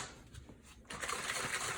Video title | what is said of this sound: How to make liquid chalk - quick and easy | As you can hear, that's still pretty watery.